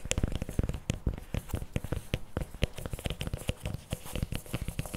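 Fingernails scratch and tap the plastic lid and paper cup sides of a CremaNovi paperboard chocolate spread tub. A rapid, uneven run of short, dry taps and crinkly scratches, each with a dull low thump and almost no ring, with faint bright crackle over the top.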